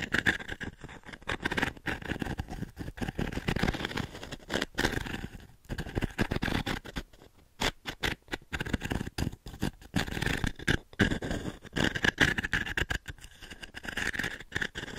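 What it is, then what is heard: Wooden-frame pin brush. Long nails scratch across the dense pins of a small octagonal wooden-frame pin brush, held flat and then tilted. The result is a dense, crackling scratch in rapid irregular bursts with brief pauses, carrying a bright tone near 1.7 kHz over a low rustle.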